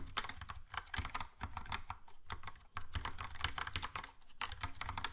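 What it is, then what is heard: Plastic mechanical keyboard typing. Fingertips of both hands type steadily on a compact, hollow Logitech POP Keys plastic mechanical keyboard with a yellow plastic case and round black and grey plastic typewriter-style keycaps. The result is a fast, continuous run of short, dry clacking taps with a hollow low thud under each keystroke and a bright click on top. The taps stop quickly with almost no ring.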